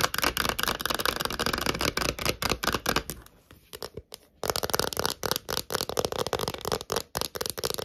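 Long nails tap rapidly on a thin, hollow, clear plastic phone case, first while it lies on a desk and then while it is held up in the hands. The taps make a dense run of short, bright, clicky hits with a hollow plastic rattle. They thin out briefly in the middle before resuming at full pace.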